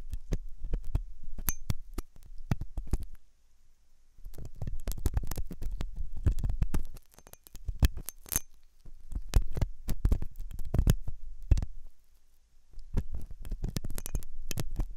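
A metal dental pick scrapes inside the hollow ear canal of a white, soft silicone ear on a binaural microphone. The result is close, deep rumbling scratches and thuds with sharp high clicks. The scraping comes in bursts separated by brief quiet gaps.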